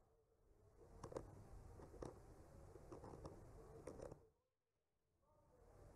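The tip of a bamboo skewer traces and scratches around the blossoms on a solid wooden panel painted with trees. It makes a soft, low, grainy scraping broken by small sharp ticks. The sound drops to near silence for a moment before the faint scratching resumes.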